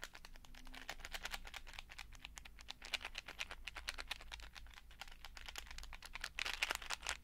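A clear plastic case full of small colorful beads is held up, tilted and shaken so the beads rattle, and tapped with fingertips. Dense, rapid, bright clicking and rattling continues throughout over a faint steady low hum, with a louder flurry near the end.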